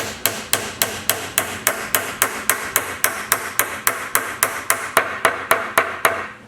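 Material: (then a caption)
Wood. A glued wooden dowel is hammered about 2 1/4 inches down into a hole through a tenon to pin and lock the joint of a grinder station base, so the tenon won't come loose. There are 22 quick, steady, sharp taps with a bright, short-ringing knock and almost no low end. The taps sound solid once the dowel is driven all the way in and fully seated.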